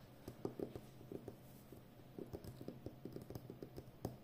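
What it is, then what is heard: Roll of plastic packing tape. A full roll of brown plastic packing tape on a cardboard core, about 5 cm wide and hollow in the center, is held upright while long painted nails tap and scratch its outer edge and surface. Quiet, irregular, dull taps with a hollow low-mid tone die away almost instantly, set over a faint scratchy rustle.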